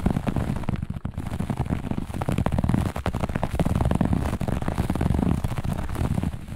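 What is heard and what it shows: A flat piece of looped grey-beige carpet laid on a surface is scratched fast and aggressively by the long natural nails of both hands. A dense run of rough, low scratching and scuffing strokes continues without pause, with no speech.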